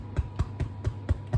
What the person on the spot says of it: just very carefully lift up your loaf, tap it. You want that nice hollow sound.